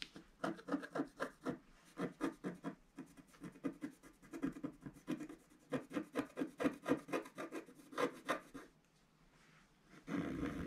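A wooden stylus scratches the black coating of a flat, roughly A4 scratch-art sheet lying solid on a table, working around a drawn vase and the lower right. Quick, dry rasping strokes come about four per second in uneven bursts, with a dull low-mid body. A near-silent pause follows, then a steadier, denser rub closes the clip.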